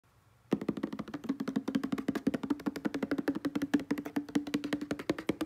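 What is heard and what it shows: A hollow blue plastic Selsun Blue shampoo bottle of about 300 mL, fill level unknown, lies on a soft grey textured blanket and is rapidly tapped across its label with short-nailed fingertips. After a quiet half second, about 41 quick, dry, hollow taps follow in a steady run, each with a hollow tone near 285 Hz and a clicky top that dies away almost at once.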